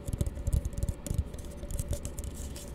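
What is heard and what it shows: A small, hollow, empty blue plastic tumbler is held close and tapped rapidly with fingertips and nails. The result is a quick run of soft, dull, low thumps with light clicky ticks and a faint bright scratch on top. The taps are loudest early on and settle into quieter, denser patter toward the end.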